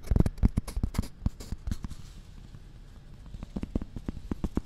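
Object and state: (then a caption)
Cork coaster. A round, thin, solid cork coaster is held against the side of a dummy-head microphone near the ear and tapped and scratched with long red nails. Quick, dry, dull taps come in a fast flurry at first, then ease into a quieter stretch of soft scratching before the crisp taps return. The sound is close and full in the low end, with each tap dying away almost instantly.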